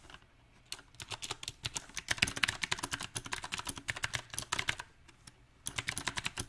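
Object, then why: Mechanical keyboard with round plastic keycaps. Fingertips of both hands type on a small 68-key backlit mechanical keyboard with round typewriter-style plastic keycaps on a silver metal plate. The sharp, bright clacks come in uneven bursts of rapid keystrokes, with a short pause near the start and another just past five seconds. Each click cuts off almost instantly, with little low-end thump.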